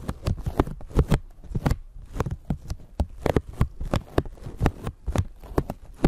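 A thin clear plastic bag stretched over a microphone is scratched and scrunched with long nails. Quick, sharp crinkling bursts with bright crackle arrive in an irregular rhythm, each backed by deep, dull thumps that may come from the microphone handling underneath.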